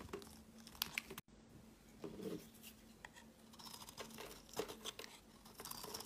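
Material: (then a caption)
Soap. A white oval embossed bar of soap, first resting on a mat and then held, is shaved with a metal blade. The sound is crisp, bright scraping and crumbly crackling in quick irregular bursts over a faint steady low hum, with a brief moment of near silence early on.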